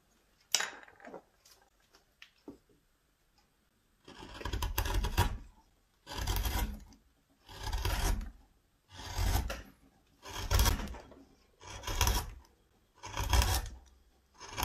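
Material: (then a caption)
Wood. A hand-held metal gouge carves and scrapes the bowl of a flat, solid, reddish-brown wooden spoon blank marked with pencil arrows and lying on a bench. A few short clicks and scrapes open the clip, then seven long, steady rasping strokes follow one after another, each a broad, rough gouging sound with a strong low body and a bright, hissy edge.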